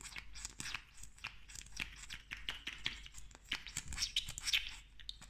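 A slim pink plastic lip gloss tube with a metallic cap is tapped and scratched rapidly with long nails. Quick, crisp clicks and bright scratchy rasps follow one another in a dense, uneven flurry. Each sound is dry and stops almost at once, over a faint low rumble.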